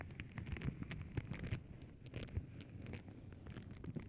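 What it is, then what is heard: Tissue paper sheet. A flat sheet of tissue paper printed with paw prints is scratched and tapped by long nails. The result is a dense run of soft crinkly scratches and light taps, mostly low and muffled with a few brighter crackles. The loudness stays fairly steady throughout.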